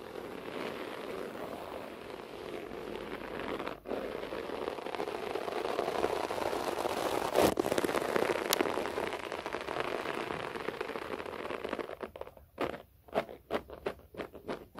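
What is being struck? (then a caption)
Short-pile floor carpet. Fingertips and nails scratch a beige short-pile floor carpet, with the hands coming close to the camera at times. A dense, steady scratchy rustle with a mid-range body fills most of the clip, briefly dipping once before swelling a little louder in the middle. Near the end it breaks into a series of short, separate scratching strokes.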